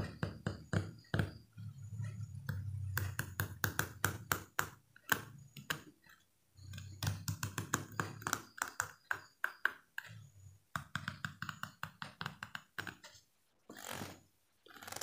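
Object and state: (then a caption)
Plastic comb. A fingernail strums and flicks the teeth of a small, solid yellow plastic hair comb held vertically, producing quick bursts of dry, clicky ticks with bright, short pings around 1.6 kHz. The flicks come in irregular runs with brief pauses, over a soft low-pitched murmur.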